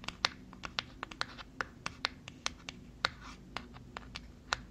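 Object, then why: Small cardboard box. Long fingernails scratch and tap a small white cardboard product box, producing about eighteen short, bright clicks in an irregular run over a faint low background hum. Each tap is dry and dies away instantly, with soft scratching between taps.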